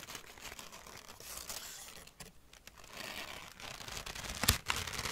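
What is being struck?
Crumpled thin packing paper.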